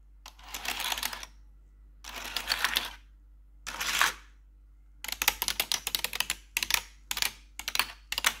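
Long pointed metal nail claws, worn over blue gloves, tap and scratch across the keys of a black plastic RGB backlit computer keyboard. Three dense, bright bursts of rapid clicking come first, followed by a quicker run of short, sharp separate clicks. Each click is crisp and dry, with almost no low end and no ring.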